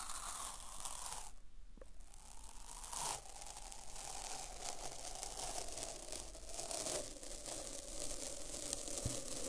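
A strip of thin white paper masking tape, held between both hands, is stuck to itself on its adhesive side and slowly pulled apart and stretched with the fingers. The result is a continuous bright, crackly peeling and ripping sound with a brief quieter pause near the start.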